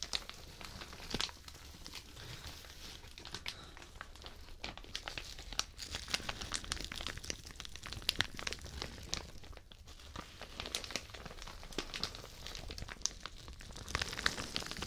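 A thin, soft white plastic shower cap is bunched in the hands beside a microphone ear and squeezed and crinkled with fingertips and nails. The result is a steady, quiet bed of dense, bright crinkling and crackling, with many quick, sharp snaps that stop dead and a light low rumble underneath throughout.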